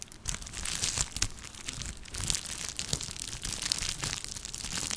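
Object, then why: Plastic bubble wrap sheet. A small, clear plastic bubble wrap sheet is crumpled and scratched with long nails, giving a continuous, bright crinkling texture. Sharp crackles and clicks flare up throughout over a faint low rumble, each dying away instantly.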